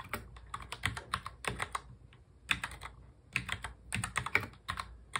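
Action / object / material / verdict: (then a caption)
tap / plastic mechanical keyboard / plastic / none. Fingertips of both hands touch-type fast on a full-size black plastic mechanical keyboard. Quick runs of sharp, bright, clicky keystrokes come in bursts separated by short pauses. Each click is dry and dies away almost at once, with little low-end thump.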